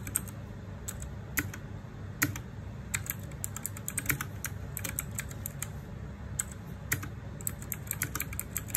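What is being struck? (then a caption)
Mechanical keyboard with plastic keycaps. Fingertips type rapidly and continuously on a Ducky One 2 Mini, a small 60% RGB-backlit mechanical keyboard with plastic keycaps on a metal/plastic case. A steady stream of short, bright, crisp key clacks with very brief decay sits over a low, constant background rumble, with a few sharper louder strikes standing out.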